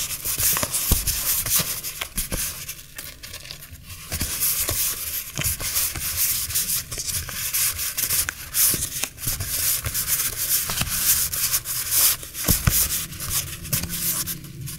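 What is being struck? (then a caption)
Stack of paper memo sheets. A thick stack of small vintage butterfly-print paper memo sheets is held in both hands, fanned and riffled with the fingertips. The thin sheets rub and flutter against each other in a steady, bright papery rustle, broken by frequent quick flicks and soft crinkles.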